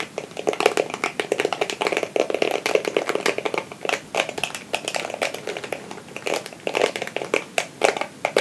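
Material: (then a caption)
Plastic. A small, palm-sized red plastic Tangle Teezer-style detangling brush with a solid back and dense short flexible plastic bristles is held in one hand while the fingertips and nails of the other hand scratch and run across the bristles. The result is a rapid, dry, crackling run of many short plastic ticks and scrapes with a mid-range body and a bright top. The clicks come in uneven bursts and cut off almost immediately.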